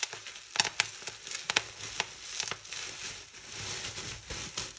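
Fingertips pinch and pop clear plastic bubble wrap resting on a table, crushing and crinkling it. Sharp, bright snaps stand out over a steady, high crinkling rustle of the plastic.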